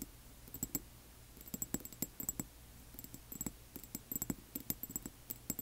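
A small, labeled amber glass serum bottle with a white dropper cap, apparently filled, stands on black cloth and is tapped on its sides with the long nails of both hands. The result is quiet, irregular clusters of short, bright clicking taps with a faint high glassy tinkle and almost no ring.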